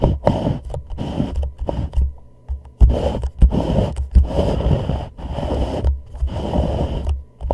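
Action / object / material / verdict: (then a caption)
scrape / plastic reusable cup / plastic / none. A thumbnail scratches and taps the lower wall near the rim of an empty, hollow white plastic reusable cup turned upside down over a microphone. Rough scraping bursts alternate with sharp little taps, all sounding deep and boomy inside the cup with no bright edge. The sound is muffled and resonant, and each tap dies away quickly.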